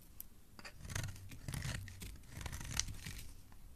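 A metal blade scrapes and shaves a solid oval pink bar of soap held in the hand. The result is a quiet run of dry, crisp scraping strokes with bright, airy edges over a soft low rumble. One sharper bright scrape stands out near the end.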